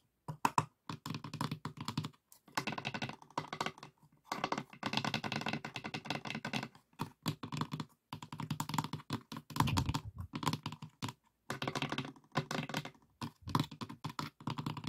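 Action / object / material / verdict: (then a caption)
tap / light wooden box with compartments / wood / none. Fingertips and nails of both hands rapidly tap the inner walls and edges of an open, hollow, empty light pine-wood box divided into compartments. The dry, hollow wooden clicks and knocks come in fast, dense bursts separated by brief pauses, each tap dying away almost instantly.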